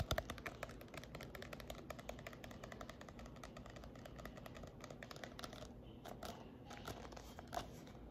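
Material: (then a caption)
Paper. A glossy-covered baby-led weaning paperback, solid, is tapped and scratched with long nails, producing a dense, steady stream of quick clicky taps over a low hum. After about 5.7 seconds the taps thin out into sparser, brighter scratches and clicks.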